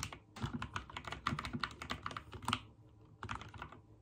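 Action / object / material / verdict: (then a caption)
tap / mechanical keyboard with plastic keycaps / plastic / none. A backlit mechanical keyboard with white and teal plastic keycaps is typed on with the fingertips in slow key presses. About twenty short, clacky keystrokes are heard, each with a low thock and a bright click that die away almost at once. A brief pause comes near the three-second mark before the typing resumes.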